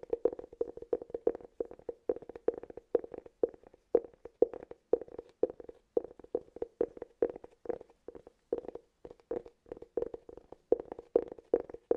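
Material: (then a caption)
Cork. Fingertips and nails scratch and tap the flat face and edge of a round, hollow cork cylinder, close up. A steady run of quick, dry taps, each with a hollow mid-pitched knock that dies away almost at once, comes at an uneven pace with soft scratching between.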